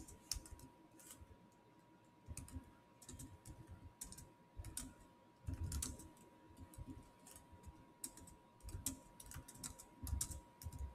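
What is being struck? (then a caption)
Plastic laptop keyboard keys. Fingertips type on the solid black plastic chiclet keys of a silver Samsung laptop, producing quiet, short, bright clicks in irregular bursts with soft low thumps beneath them. A faint steady tone near 1 kHz runs underneath throughout.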